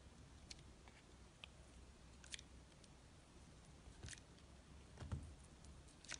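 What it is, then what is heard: Glycerin soap bar being cut. A utility knife blade cuts and scrapes into a hand-held, solid, rectangular, translucent blue glycerin soap bar with embedded pieces. Quiet, crisp slicing clicks and short scraping crunches come at irregular intervals over a low, steady background rumble. Each one stops almost at once with no ring.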